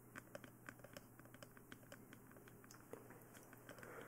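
Long nails tap and scratch on the top of a glossy black hollow plastic mannequin-style dummy head microphone. Quick, dry clicks with a hollow, plastic ring follow each other irregularly over a soft scratching hiss and a steady low hum.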